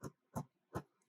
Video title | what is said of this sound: DAY 14 - Afternoon - SCORE & BAKE DOUGH (Sorghum Gluten Free Sourdough Starter) | when it sounds like that you know it's done so if it doesn't give you that hollow sound when you tap on the bottom